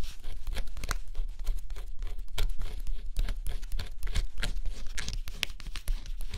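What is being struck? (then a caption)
Scratch-off cardboard jigsaw puzzle. A thin stylus held in a fingertip grip scratches across the black coating of a flat cardboard scratch-off jigsaw puzzle. It makes a steady run of dry, crackling scrapes with brief bright strokes over a low rumble.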